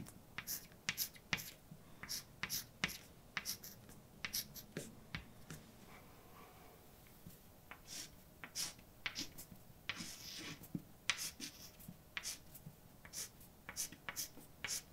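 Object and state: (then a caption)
Chalk writing on a chalkboard. A hand writes poems in white chalk on a large dark blackboard already covered in writing, scratching the chalk across the board to form letters. Quick, bright taps and short scratchy strokes follow one another in an irregular rhythm, with a quieter stretch of faint scraping in the middle.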